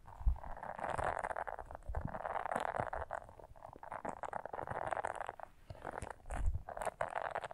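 Long nails scratch across the soft bristles of a small blue silicone scrubber brush, which fingers hold and slightly bend. The result is a dense, steady scratchy rustle centered in the midrange, with faint high crackle above it, soft low thumps from handling, and a brief lull near the end.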